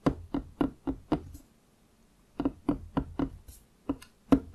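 Fingertips of both hands tap and knock on the top of a large, solid wooden desk. A run of five quick, dry knocks is followed by a pause of about a second, then six more at an uneven pace. Each has a short woody thud around 270 Hz with a faint bright click that dies away almost instantly.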